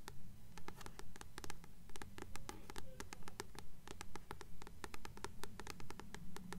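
Long nails tap and scratch the glossy cardstock front cover of a blue paperback copy of "Practical Magic," a solid paper block held upright in both hands. Quick, dry, bright clicks fall in a steady, even rhythm over a soft scratching texture with a low rumble underneath, all at a quiet level.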